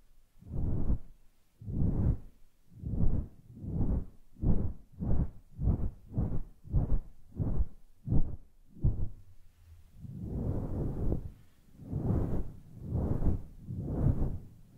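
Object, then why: Synthetic fur microphone windscreen. Fingertips and long nails brush and rub across the surface of a grey, fluffy, synthetic faux fur microphone windscreen. The result is a steady series of soft, deep, muffled swishing strokes that rise and fade. They come quicker through the middle, then one longer drawn-out rub is followed by slower strokes.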